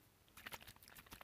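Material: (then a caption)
Plastic, liquid. A small plastic activator capsule from an automatic grease lubricator, which holds the liquid that its gas-generating pill drops into, is shaken by hand. Quick, bright sloshing splashes and crinkly swishes come in a rapid series of short bursts. This shows liquid is sealed inside the capsule, as it should be.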